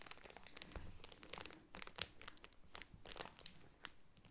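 A hand-sized, soft, filled Smart Care multipack of pocket tissue packets in thin plastic film lies flat while long purple-painted nails tap and scratch across the crinkly wrap, then it is lifted in both hands and squeezed. Quiet, dry crinkling is punctuated by many short, bright clicks and scratchy crackles that die away almost instantly.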